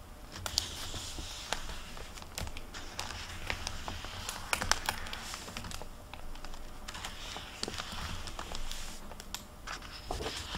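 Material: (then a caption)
Paper. Fingertips and long nails flip and brush the paper pages of an open hardcover library book back and forth on a table. The result is a steady run of dry, crisp rustles broken by sharp, clicky taps that stop almost at once, with bright papery hiss over a faint low rumble.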